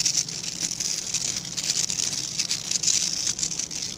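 Fingertips scratch along the dense, dark synthetic bristles of a hand-sized plastic-backed scrub brush. The result is a steady, bright, hissy scratching texture with rapid crackly bursts, almost all of it in the high range with very little low end.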